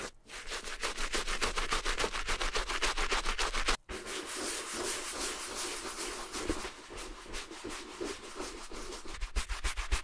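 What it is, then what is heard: Suede handbag being scrubbed with a brush. A wooden-handled bristle brush scrubs the foamy, wet suede of a small, hollow red Gucci mini handbag with a bamboo handle in quick, repeated strokes. Rhythmic, bright, raspy brushing sounds over a low hum, stops briefly, then resumes as denser, softer scrubbing.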